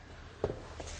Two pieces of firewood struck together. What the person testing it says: when you do that with wet wood which I have here ... it creates a a dull thud